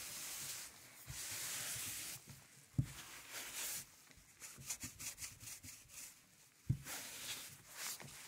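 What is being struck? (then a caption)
Vinyl record disc. A gloved hand holds a 12-inch black vinyl LP (PVC) with an orange label, a thin solid plastic disc lying flat on a velvet tablecloth, while the other hand rubs a record cleaning brush along its grooves. The result is soft, bright, airy brushing and swishing in uneven strokes, broken by two short, sharp knocks.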